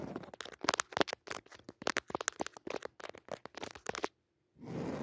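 Long nails scratch close up across the weave of a soft, padded woven jacquard fabric cushion with a red leaf pattern, making a quick run of dry, crackly scratches with bright, crisp edges. After a brief pause, a steadier, softer rustling scrape follows.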